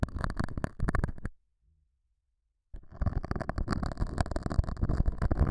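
A metal dental scaler hook scratches the surface of a small, solid, square beige felt pad mounted over a small lavalier mic. It makes dense, low, rumbling scratches with a gap of near silence midway. The scratching then resumes and continues to the end.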